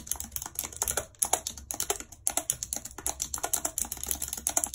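Long red acrylic nails type rapidly on a full-size white plastic computer keyboard with a numpad and hollow keys, lying on a world map. A dense run of bright, hollow plastic clicks and taps with sharp, quickly dying attacks, broken by a brief pause about halfway through.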